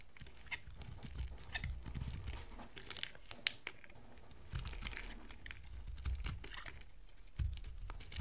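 A box cutter blade shaves pieces off a solid, dry, narrowed yellow bar of soap held in the hand. Dry, crunchy scraping and crinkling cuts come in quick, uneven strokes, with sharp brief clicks standing out over a low, dull rumble.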